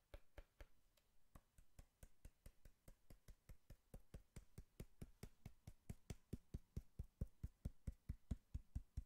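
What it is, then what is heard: Hollow cardboard box. Fingertips knock and tap on a hollow brown cardboard box, producing about 40 short, dull, low thuds in a steady, quick rhythm. Each hit dies away almost instantly with no ring, and the taps grow slightly louder toward the end.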